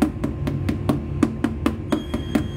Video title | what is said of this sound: LIVE Replay7/5 (un-cut): Peony Dining Set - Applying Foam and Fabric to Dining Chairs | flick it to make sure it sounds like the other one before I stretch it